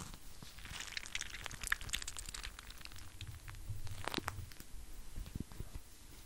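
Fingertips and nails scratch and squeeze a clear plastic eye mask full of gel beads with a white strap. The result is quiet, continuous crinkly crunching and scratchy rustling, with bright crackles over a soft low rumble and a few sharper squishes near the middle and end.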